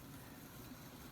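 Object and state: Nothing is struck.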